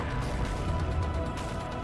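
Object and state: Nothing is struck.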